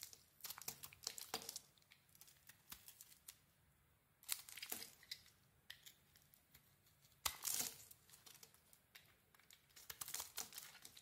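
A solid rectangular bar of soap with a mint green shell and a cream interior is scraped and shaved with a small metal blade. Quiet, crisp, bright scraping strokes come in irregular bursts, with several louder shaving passes standing out against a hushed background.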